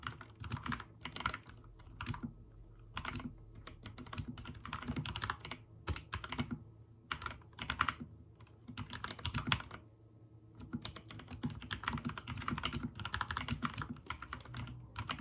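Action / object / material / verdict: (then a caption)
tap / mechanical keyboard with plastic keycaps / plastic / none. A backlit mechanical keyboard with white and teal plastic keycaps is typed on with the fingertips. Bursts of rapid clacky key presses alternate with brief pauses, each press a short bright click over a low thock with very little ring.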